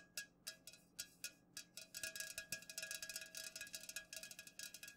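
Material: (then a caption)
Aluminum. Long nails fast-tap the sides of an unopened, full Pepsi aluminum can standing upright. Bright, tinny clicks with a faint ring near 1.6 kHz start as separate taps, then speed up into a dense, rapid flurry. Each tap dies away almost instantly.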